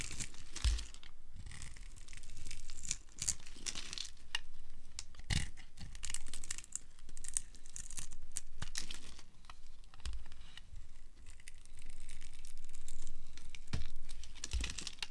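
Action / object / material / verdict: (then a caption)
scrape / bar of soap / soap / none. A small knife held against a solid amber dry soap bar, pre-scored in a grid and held in a long-nailed hand, scrapes and carves it into crumbly cubes and shavings. The result is a steady run of dry, crisp scratching and crumbling with sharp bright crackles and short tearing bursts, separated by brief quieter pauses.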